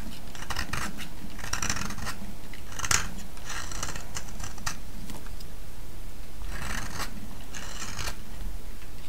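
A solid, oval, pale yellow round vintage soap held in the hand is scraped and shaved with a metal blade. Repeated bright, crisp scraping bursts rise over a steady low hum, with one sharper click near the three-second mark.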